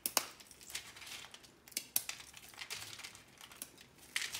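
Fingertips and nails crush, pinch and rake through a pile of small, brittle, dried soap curl fragments on an orange surface. Bright, dry crunching and crinkling comes with sharp snaps and almost no low end.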